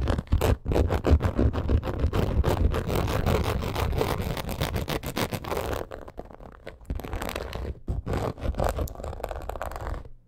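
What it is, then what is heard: Embossed leather purse. Long acrylic nails rapidly scratch across a black crocodile-embossed leather purse, making a dense run of quick rasping scrapes with short, dry decays. The sound is mostly low and thumpy with little brightness, and it eases slightly in the second half before stopping at the end.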